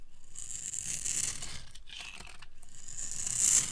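A metal utility blade carves scored strips and cubes off the end of a hand-sized, orange solid bar of dry soap. The cutting makes a steady, dry, high scraping and crumbly crackle, with brief pauses between strokes and brighter bursts as pieces break away.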